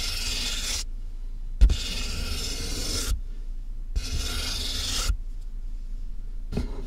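Fingernails scratch and tap on the top of a medium, closed, hollow corrugated cardboard box with a microphone inside, then hands touch its sides. Bursts of bright, raspy scratching alternate with quieter gaps over a boomy, low hollow resonance, with a sharp tap standing out partway through.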